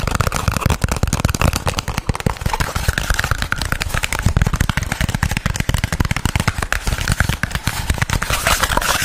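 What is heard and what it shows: A small, hollow, empty white printed cardboard product box, held in both hands, is tapped and scratched quickly with fingertips and nails. The result is a fast, continuous stream of short, dry, hollow thuds mixed with crackly scratching.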